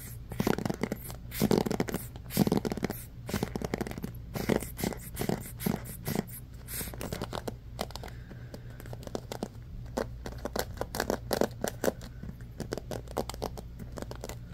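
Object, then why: Bamboo paddle hairbrush with rubber cushion and pins. Fingertips and nails scratch quickly and roughly across the wooden-tipped pins of a handheld bamboo paddle hairbrush with a black rubber cushion. The result is a dense run of short, dry scratching and crackling bursts over a steady low hum.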